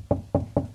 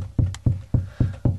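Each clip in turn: First: Three short, dull knocks on drywall that die almost at once, marking a solid spot over a stud. Second: Five evenly spaced knocks give a low, boomy thud; the drywall sounds hollow over an empty cavity.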